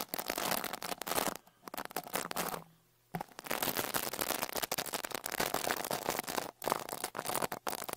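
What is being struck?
Metal mesh microphone grille brushed with a small bristle brush.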